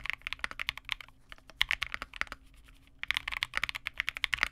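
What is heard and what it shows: Continuous two-handed fingertip typing on a Vega65 custom mechanical keyboard: a small 65% board with re-lubed Cobalt switches, white plastic keycaps and a dark case. The keystrokes are rapid, short, bright plastic clacks centered around 2 kHz with almost no low end. The burst of typing briefly slows near the middle before picking back up.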